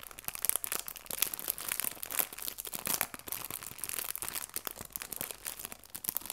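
A small clear cellophane bag full of artificial fabric leaves has its top edge crinkled and pinched between fingertips. It gives a steady, dense stream of bright, crisp plastic crackles with sharp little snaps, almost no low end, and quiet, dry detail throughout.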